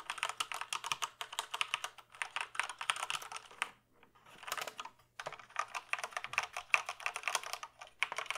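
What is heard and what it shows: Fingertips type on a black plastic mechanical computer keyboard, first held upright and then resting in front. The result is rapid, bright plastic clicks and clacks in dense bursts, with two brief pauses before the typing resumes.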